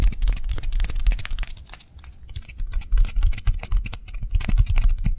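Two small, white, solid styrofoam balls of the same kind, one held in each hand, are fast-tapped and lightly scratched with long nails. The result is a rapid, uneven patter of soft low thuds with crisp, bright clicking scratches on top. The tapping dips quieter for a moment midway before picking back up.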